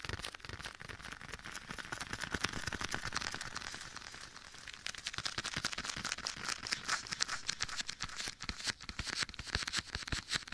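Bare fingertips tap and pat a soft, hollow black leather glove worn on one hand and held beside the ear of a binaural microphone, with an echo effect applied. The result is a fast, uneven stream of short, bright, crinkly taps that runs throughout the clip and grows slightly louder and sharper in the second half.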